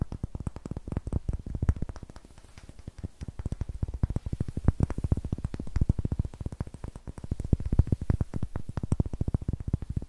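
A small solid block of pale wood with a green pad on one face, held in the hands in front of a TASCAM recorder, is tapped and scratched with long fingernails. A rapid, continuous stream of dry, short clicks follows, with dull, low-heavy knocks that die away almost instantly. The tapping eases briefly around the two-to-three-second mark before picking up again.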